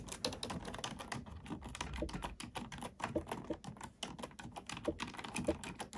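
Fingertips type on a black plastic computer keyboard, producing a rapid, uneven stream of short plastic clicks and clacks. Each keystroke is bright and dies away almost instantly, with a soft low thump under the keys and occasional louder taps standing out.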